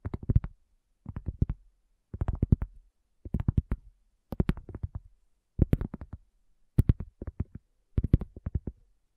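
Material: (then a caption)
Cork. Long nails and fingertips lightly tap and scratch a round, flat, solid cork coaster lying on a black table, with the recorder resting on its edge. The sound comes in eight short bursts of quick, soft, dull taps separated by brief pauses. Each tap is low and muffled, with almost no ring.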